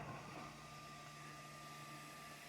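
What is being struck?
Nothing is struck.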